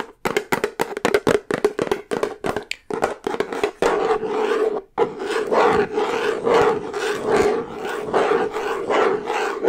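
Long nails tap and scratch a large, full plastic peanut butter jar with a yellow plastic lid, working over both the lid and the labeled side. Quick, dry, hollow taps with a faint mid-pitched ring come first, then a brief gap. After that, denser scratching and rubbing runs almost continuously until the end.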